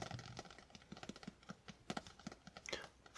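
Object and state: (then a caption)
Cloth-covered spiral notebook. Fingertips of both hands tap quickly on the fabric-textured hard cover of a small maroon spiral-bound notebook lying closed on a bedspread. Nineteen soft, dull, irregular taps sound in quick succession, each a brief muffled knock with almost no ring.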